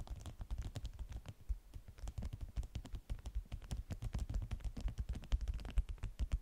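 A flat stack of yellow beeswax-coated cotton food wraps is scratched and tapped quickly by both hands with long nails on the stiff waxed fabric. The result is a dense run of short, dry taps and scratches with a low thumping body and no ring.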